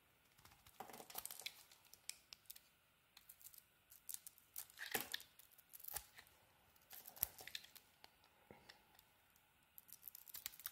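A utility knife blade carves a solid teal bar of soap with a cream interior, cutting off thin curls. Quiet, bright, crisp scraping and crackling strokes come in short bursts separated by near-silent pauses, with little low end and no ring after each cut.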